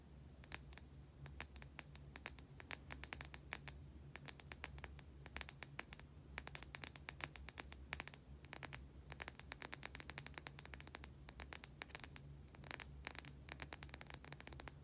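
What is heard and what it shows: A white solid oval bar of soap, held in both hands, is scratched with long painted nails. Rapid bursts of short, bright scratching clicks come in uneven clusters with brief pauses between them. A steady low hum runs underneath throughout.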